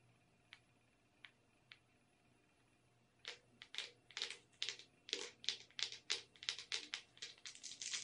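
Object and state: Plastic tub of sprinkles.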